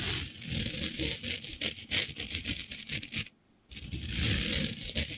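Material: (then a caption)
Glitter fabric. Long nails scratch and rub a flat sheet of black fabric covered in fine green glitter, producing dense, bright, rasping scrapes in quick strokes. The scratching pauses briefly into near silence, then resumes with louder, sustained rubbing.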